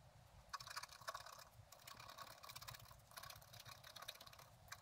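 A wooden stylus scratches the upper branches into a thin, flat sheet of scratch art paper. Quiet, dry, bright scraping comes in short bursts of strokes over a faint low rumble.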